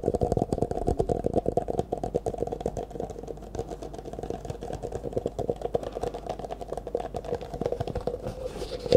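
Fingertips rapidly tap and scratch an empty, hollow disposable clear plastic cup held in both hands, turning it sideways at the end. The dense run of short, dry clicks and scrapes carries a hollow resonance around 500 Hz, with almost no ring after each touch.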